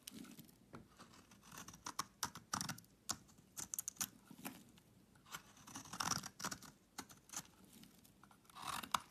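A solid pink bar of soap held in the hand is shaved with a utility knife blade. Quiet, crisp scraping and crunching cuts come in irregular bursts, with bright, dry edges and no ringing.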